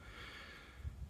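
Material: Nothing is struck.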